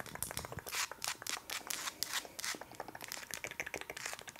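Long acrylic nails rapidly tap and scratch a large, solid, pale wax pillar candle with a paper label, held in the hands. The result is a quick, aggressive stream of crisp, bright clicks mixed with dry, papery scraping. The sound is mostly high-pitched, with almost no low end, and each tap dies away instantly.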